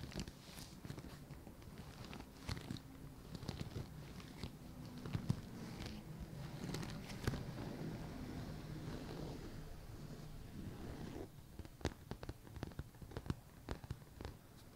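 Fingertips and nails of both hands scratch and tap the side panels of a medium, hollow white leather purse with brown leather trim, standing upright on a table. A soft, low, dense scratching rustle runs throughout, broken by quick, dry taps and bright nail clicks that die away almost instantly. The middle stretch is a steadier scratching, and sharper separate taps return near the end.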